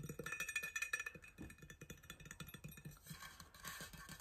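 Fingertips tap and scratch the body and base of a large, hollow, blue powder-coated insulated stainless steel water bottle with a black cap, held in one hand. A quick, uneven run of soft, dull taps comes first, with a faint bright metallic ring near 1.7 kHz. It shifts into brighter, hissy scratching toward the end.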